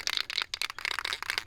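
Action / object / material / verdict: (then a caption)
shake / aerosol spray paint can with metal mixing ball / metal / loose. An aerosol spray paint can is shaken before painting the valve covers of a 1972 Chevy Cheyenne, its mixing ball rattling loose inside. The sound is a rapid run of sharp, bright metallic clicks with almost no low end. The free-moving ball shows the paint is blending properly.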